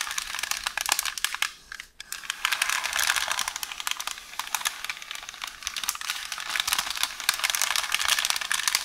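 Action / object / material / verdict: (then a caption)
scrape / roll of baking paper / paper / none. Long orange nails scratch along and press the surface of a rolled beige baking-paper roll resting on a counter. The result is a dense, crisp, crinkly rustle of quick scratches, bright and thin with no low end, pausing briefly just before the 2-second mark before continuing steadily.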